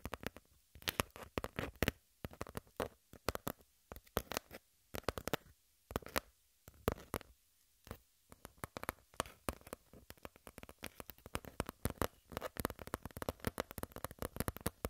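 Long pink nails tap and scratch quickly across a flat brown cardboard sheet. Dense, dry clicks and scrapes come in bursts with brief pauses, each one short and broadband with almost no ring, at a soft overall level.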